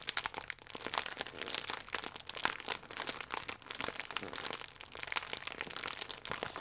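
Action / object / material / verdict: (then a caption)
scrape / plastic film pastry wrapper / plastic film / none. A hand-sized, sealed, printed plastic film pack holding a Misura cherry croissant with soft pastry inside is held in both hands and crinkled and squeezed with fingertips and painted nails. The film gives off a continuous run of bright, dry crinkles and crackles with almost no low end, each snap dying away almost instantly.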